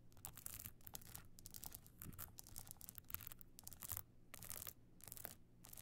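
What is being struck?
Evening clutch covered in small stone chips.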